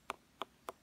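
Three quick taps on an unripe jackfruit give short, sharp, hollow-sounding knocks centered around 1.2 kHz with bright upper edges. Each tap dies away almost instantly, with no low boom.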